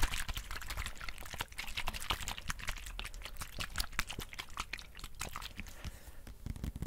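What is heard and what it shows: Fingernails tap and scratch the plastic of a white sports squeeze water bottle with an orange cap, held in both hands close to the mic. Dense, rapid, crisp clicks and scratchy rustles with a low rumble underneath continue steadily throughout.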